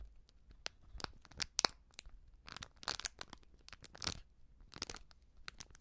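A small, filled foil sachet of baking soda is squeezed, bent and crinkled by fingertips with long painted nails. It gives bright, papery crackles in irregular bursts, with short sharp snaps in between and quiet gaps, all kept soft and close.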